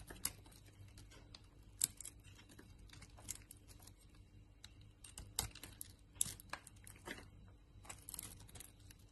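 A utility knife blade carves pieces off a solid striped soap bar with an embossed logo, held in the palm. Quiet, crisp scraping and crackling cuts come in irregular bursts with bright, dry edges, several sharper snaps standing out over a faint low hum.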